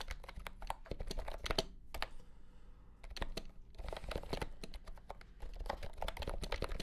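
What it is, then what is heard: Plastic compact keyboard. A compact pastel green plastic keyboard with round keycaps and a hollow body is typed on with the fingertips. Quick, dry, clacky taps come in bursts with a brief pause in the middle, each tap dying out almost instantly with a hollow, low-weighted tone.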